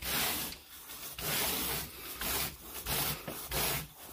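A carpet groomer rake with a wooden handle and a teal plastic head is scraped through wall-to-wall grey pile carpet on a bedroom floor. Five bright, hissing raking strokes brush through the fibers, each followed by a brief quieter pause.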